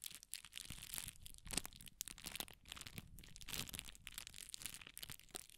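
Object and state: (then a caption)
Tissue paper crinkling. A rolled strip of red tissue paper is stretched and twisted with the fingertips, giving a steady run of soft, bright crinkling with many small overlapping crackles. The sound is airy and mostly high, with quick dry ticks and no ringing.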